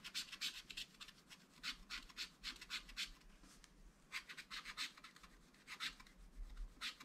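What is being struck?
Wax-coated scratch art paper scraped with a wooden stylus.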